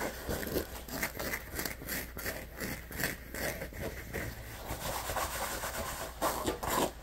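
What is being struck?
Neoprene fabric lunch bag.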